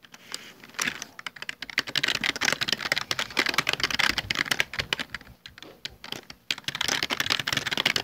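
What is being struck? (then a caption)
Plastic computer keyboard. Bare fingertips type rapidly across a full-size black plastic Dell desktop keyboard with hollow keycaps. Many quick, bright, sharp clicks run in dense bursts with brief pauses between them, each dying away almost instantly.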